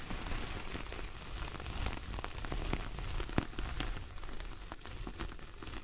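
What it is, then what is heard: Coconut coir door mat. Long nails of both hands scratch and drag across the bristly surface of a large, flat coconut coir door mat. The result is a continuous dry, crackling rustle with a dense, rumbling low end, dotted with sharp little ticks and clicks that sound almost like rain pattering on a surface.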